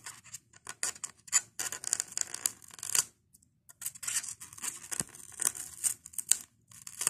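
A fingernail scratches at a white expanded polystyrene foam block and pries beads off its loose, beaded corner. The result is bursts of dry, bright, squeaky crackling and scratching with almost no low end, broken by a short quiet pause midway.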